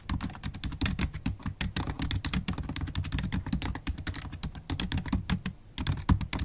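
Long black holographic acrylic nails and fingertips type continuously on a MacBook Pro keyboard with black plastic keys in an aluminium body. A steady stream of quick, dry clicks carries bright nail ticks over soft low key thuds, with a brief lull just before the end.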